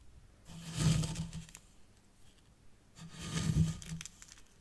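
Long dark-painted fingernails and fingertips dig into and scratch through fine white sand in a small hexagonal grey tray that also holds a tealight holder, forming a miniature zen garden. Two gritty, rustling scraping passes rise and fade, each with a low rumbling body and a bright, grainy hiss, separated by a quiet pause.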